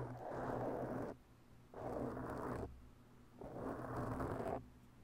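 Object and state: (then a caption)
Foam microphone windscreen scratched. Long bare natural nails slowly scratch a round black foam windscreen on a microphone. Three drawn-out, breathy scraping passes, each about a second long, fill the mids with soft rough rustle. Quiet gaps between them leave only a low steady hum.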